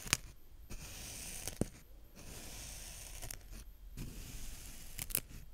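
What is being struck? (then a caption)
Kinetic sand raked with a small plastic rake. A small green plastic rake held in the fingertips rakes and pokes through brown kinetic sand. Soft, grainy scraping and crumbling hisses are broken by a few sharp, bright clicks and taps, all quiet and close.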